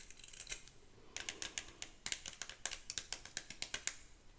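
Long pink acrylic nails scratch and flick across the nylon/natural bristles of a vintage ornate hairbrush with a metal back and handle, held close to the mic. A series of short, dry, bright clicks and scratchy flicks comes in an uneven rhythm, with a brief quieter gap before the flicks pick up again.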